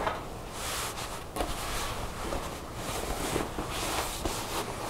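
Long nails scratch and rub folded, rolled blue ripped denim jeans resting on a wooden table. The result is a steady, soft, rough rustling texture with faint taps and a low background rumble.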